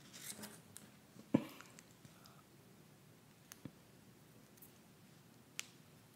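Long white plastic press-on nails, small thin hollow shells worn on both hands, are tapped and clicked against each other in front of the chest. Short, dry clicks come sparsely over a quiet background, with one sharper, louder click early on. Each tap dies away almost instantly.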